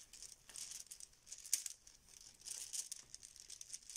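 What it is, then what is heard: Fabric pouch of plastic tiles being shaken. A yellow fabric zip Bananagrams pouch full of plastic letter tiles is squeezed and shaken in both hands, and the tiles rattle inside. The result is quiet, bright, crinkly rattling in uneven bursts with almost no low end, peaking sharply near the middle and again in a busier stretch just after.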